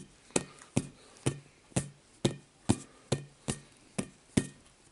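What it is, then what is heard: Hollow inflatable vinyl ball. Fingertips tap the surface of a rainbow-coloured, hollow inflatable vinyl play ball held in one hand close up. About a dozen evenly spaced, soft, dull thumps are heard, each with a low, hollow body and a brief bright edge that dies away almost at once.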